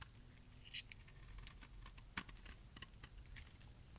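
A metal blade scrapes flakes off the surface and edges of a solid, light pink bar of dry soap. The result is a quiet run of short, crisp, bright scratches and ticks with little ring, over a faint low rumble, with one sharper scrape standing out near the middle.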